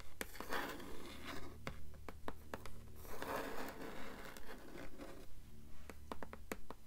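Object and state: Hardcover book endpaper.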